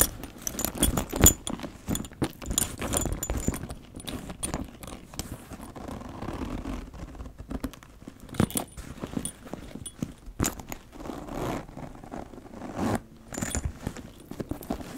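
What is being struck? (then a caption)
Leather handbag with metal chain and rings. A large black leather handbag with a gold chain and ring zipper is handled by its handles, so the chain and metal rings jangle in bright, clustered clinks over soft leather rustling. Near the end the zipper is pulled with a short rasping run.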